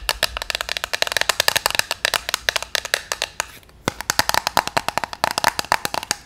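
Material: Hard plastic.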